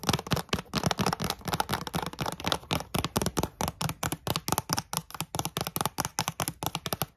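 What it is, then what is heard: Cardboard cereal bar box. Long glittery nails tap quickly on the flat faces of a closed, hollow yellow Kellogg's Coco Pops cereal bar box made of thin printed cardboard, with bars inside. About 36 short, dry taps come in a fast, steady rhythm. Each combines a hollow low thump with a bright click that dies away almost at once.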